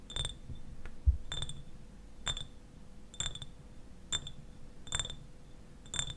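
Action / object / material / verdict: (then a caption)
tap / small glass bottle / glass / none. Fingernails tap and scratch the sides of a clear glass eyewash bottle with a white cap, partly filled with liquid. Seven bright taps come about once a second, each with a short, high glassy ring. Soft scratching and a low rumble fill the gaps between them.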